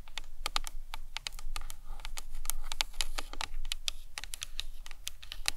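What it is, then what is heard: Hollow plastic skull model. Long nails tap quickly and irregularly on the sides of a hollow plastic anatomical skull model. Each tap is a short, dry, bright click that dies away almost at once, over a steady low rumble.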